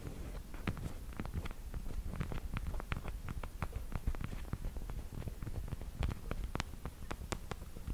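Long black pointed plastic fake nails, small and hollow fingertip covers, are tapped and clicked together close to the mic. The result is a steady stream of quick, sharp, bright clicks that die away almost at once, layered over a soft, low rumble.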